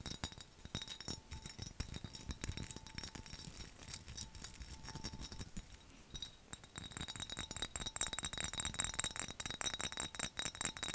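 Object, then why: Glass skull-shaped jar mug. A hollow, dark glass mason-jar mug shaped like a skull, with a handle and lid, is tapped quickly with fingernails. The sound is a fast, irregular stream of bright, short clinks and clicks with almost no ring. The tapping grows denser and louder in the second half.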